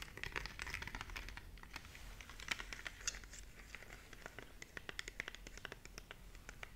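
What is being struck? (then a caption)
Plastic remote control with rubber buttons. Long nails tap and scratch across the face and edges of a small, hollow plastic LED remote control with colored rubber buttons. A quiet, rapid, uneven series of short, bright, dry clicks rides over a soft scratchy rustle, with each tap dying away almost instantly.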